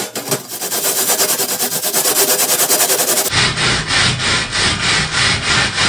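A purple plastic bristle brush is scrubbed by hand across a flat perforated metal panel. It makes steady, rhythmic, bright, scratchy strokes, about three per second. Partway through, the sound turns fuller and less airy at the very top while the strokes continue.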